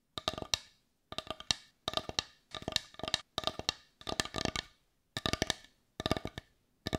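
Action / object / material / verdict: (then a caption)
tap / small wooden bowl / wood / none. A hand-sized, heart-shaped, dark brown wooden bowl, hollow and open on one side and empty, is tapped on the outside with long nails. The 29 short, dry, clicky taps come in quick bursts of several at a time with brief pauses between them. Each tap is bright and woody with almost no ring, centred around 3.8 kHz.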